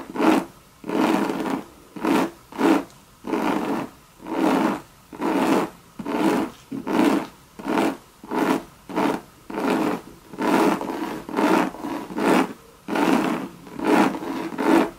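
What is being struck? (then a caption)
Coated canvas handbag with leather trim. Long red acrylic nails scratch and tap a medium-sized, hollow Louis Vuitton monogram bucket bag with a coated canvas body, leather trim and brass studs. About 20 separate raspy scratching strokes come in a loose rhythm, each a short burst of dry, mid-range scraping with a faint hollow tone and quick decay between them.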